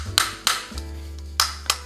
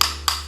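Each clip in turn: First: Crisp, high clicks with no boom or ring: a tightly built hard-plastic charger, solid rather than hollow. Second: Two bright, clicky taps on a plastic charger that sound hollow and loose, as an imitation casing does.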